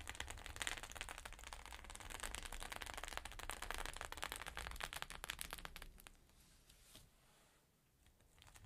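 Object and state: Sequin fabric pouch.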